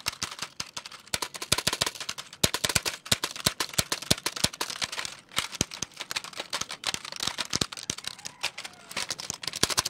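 Fingertips rapidly tap and press the plastic keys of a full-size black plastic computer keyboard with a hollow case, held in both hands. The result is a steady, dense stream of quick, dry, bright clicks and clacks with almost no ring and little low end, continuing throughout the clip.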